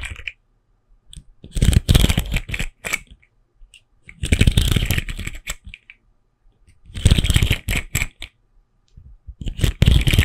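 A colorful, hand-length plastic articulated caterpillar fidget toy with hollow segments is held in one hand, and its segments are flexed and clicked with the fingers close to the microphone. Bursts of rapid, dry plastic clicking and clattering come in uneven clusters separated by short silences. Each click is sharp and dies away almost instantly.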